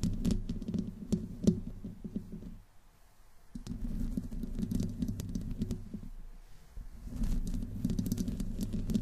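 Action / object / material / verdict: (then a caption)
scrape / metal mesh microphone grille / metal mesh / none. Long fingernails slowly scratch the side of a black microphone's hollow metal mesh grille. The result is a close, low, rumbling scratch with dense crackly patter, briefly dropping to near silence around the third and seventh seconds before resuming.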